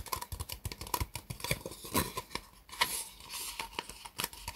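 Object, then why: Disposable plastic cup. Fingertips and nails tap quickly around an empty, upside-down white disposable plastic cup. The hollow cup gives a rapid stream of short, bright clicks and taps with a light ring near 1 kHz. Many of the taps run together rather than standing clearly apart.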